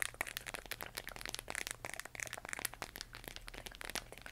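A large, hollow plastic LED moon lamp, glowing pale green and held in both hands, is scratched and tapped with long nails. The result is a quiet, rapid stream of bright, dry clicks and crinkly scratches, each cutting off almost at once with no ring.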